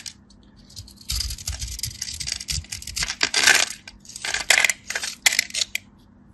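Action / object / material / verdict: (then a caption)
scrape / bar of soap cut with a blade / soap / none. A craft knife blade shaves, cuts and scrapes crisp flakes from the surface of a solid, dry, pale yellow bar of soap with a powdery starch coating, held in the hand. Bright, crackly scraping and crunching fill most of the clip after a quiet start. Louder, sharper bursts come near the middle and toward the end before it fades to quiet.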